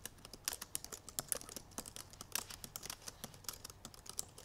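Long purple nails type rapidly on the black plastic keys of a silver aluminum MacBook Pro laptop keyboard. About 29 quick, bright, sharp clicks with very short decay ring out at uneven loudness over a faint low background hum.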